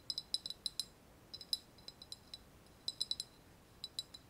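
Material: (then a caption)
Ceramic. A small, hollow, white glazed ceramic vase with a wavy relief surface is held in both hands and tapped with long nails. Eighteen quick, quiet, high-pitched clicks come in loose clusters, each ringing only briefly with a bright, glassy tone and almost no low end.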